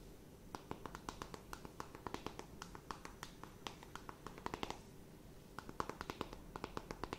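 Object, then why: Cardboard makeup palette tapped with fingernails. Long nails tap rapidly and irregularly on the top and edges of a small, flat, rectangular eyeshadow palette with a hollow printed cardboard case, held in both hands. The result is dozens of quiet, crisp, dry clicks with a bright edge that stop almost instantly, with a brief lull around the five-second mark before the tapping resumes.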